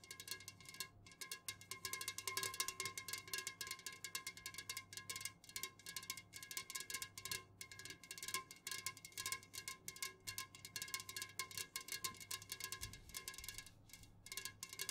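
Long fingernails on both hands rapidly tap the sides of an unopened, full Jumex Guava Nectar aluminum can standing upright. The result is a dense stream of bright, clicky metallic ticks with a ringing tone near 1 kHz. Each tap dies away almost instantly, and the patter continues with short pauses throughout.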